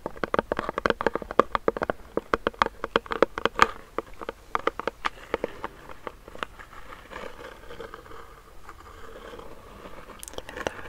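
Fingernails tap and scratch a medium clear plastic hand sanitizer pump bottle filled with clear gel, held close to the mic. Rapid, sharp, hollow plastic clicks with a mid-range tone come in dense bursts for the first four seconds. They thin out into softer, sparser scratching, with a few bright taps near the end.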